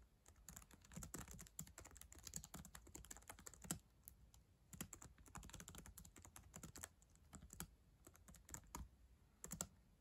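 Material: Plastic.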